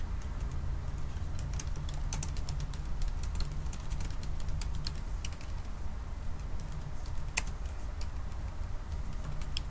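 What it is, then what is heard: Laptop keyboard, plastic keys. Fast fingertip typing on a silver aluminium laptop's black plastic keys makes a steady stream of quick, light, bright clicks. The clicks sit over a constant low rumbling hum that holds at an even level throughout.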